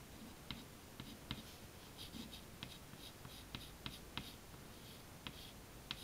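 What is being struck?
Chalk stick on a chalkboard.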